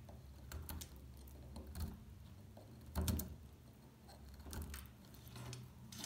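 A metal pick chips flakes off the edge of a solid, dry beige soap bar. The result is a run of dry, crumbly scraping and ticking sounds over a low, muffled rumble, with brief bright crackles as flakes break away. The loudest snap comes about halfway through.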